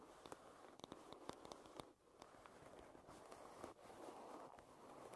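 Long red nails tap and scratch the solid wooden back and side of a wooden paddle hairbrush. Quiet, dry, short clicks land over a steady scratchy rasp that sits mostly in the mids and briefly drops out near two seconds and again near the end.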